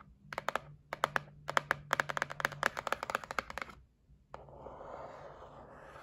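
Long nails tap quickly on a white printed cardboard gift box for a facial massage set, held flat, making about 25 crisp, dry, hollow clicks over the first four seconds. After a brief pause, one sharp tap leads into a steady, airy scratching of the nails across the cardboard until the end.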